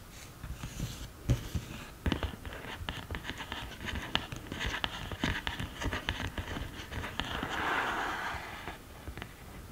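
Long green nails tap the sides, pans and lid of an open cardboard eyeshadow palette, making quick, dry, hollow clicks with soft low thumps. Near the end the taps give way briefly to a steadier, brighter scratching rustle before a few more light taps.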